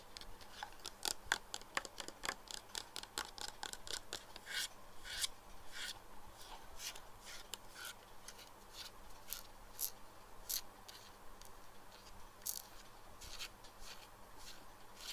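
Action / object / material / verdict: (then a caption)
tap / plastic pinhole eyeglasses / plastic / none. Fingernails tap and scratch a pair of plastic pinhole eyeglasses with perforated black lenses and a clear frame resting on a wooden table. The result is a quick, irregular run of sharp, dry, bright clicks with no ring, separated by soft scratchy rubbing over a faint low background hum.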